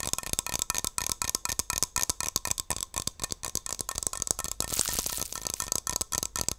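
A hand-sized Barbasol aerosol shaving cream can, metal with a plastic cap, is tapped and scratched with long nails. About 29 quick, dry clicks are heard, bright and high with almost no ring, and a brief continuous scratching passage occurs near the five-second mark.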